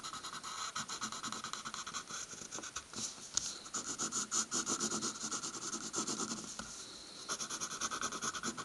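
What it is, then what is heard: Pencil hatching on a paper stack. A pencil scratches quick hatching lines across a drawing on a stack of white paper resting on a wooden table. The strokes make a fast, steady run of bright, dry scratches with almost no low end, easing briefly near the seventh second before picking up again.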